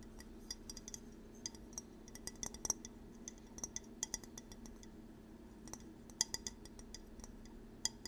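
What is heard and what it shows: Light, irregular taps on a ceramic fall bowl with a leaf texture inside; it still has a little residual chocolate in it from holding chocolates. Each tap is a short, bright clink that dies almost instantly, heard over a steady low hum.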